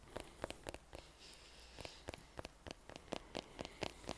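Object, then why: Leather-covered American football. Fingertips and nails tap and scratch the pebbled leather-like cover of a brown Baden American football with white laces, hollow and inflated and held in one hand. Fourteen short, dry, hollow taps with a midrange knock near 560 Hz ring out unevenly. A soft, bright scratching rasp fills the quieter stretch between them.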